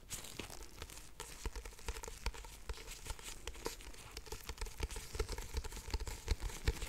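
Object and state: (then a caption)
Paperback book. Nitrile-gloved fingers rub and grip a solid black paperback book, "Pillow Thoughts," with a paper cover. The result is a quiet, continuous crinkling and scraping texture dotted with many short, dry ticks and crunches, over a faint low rumble.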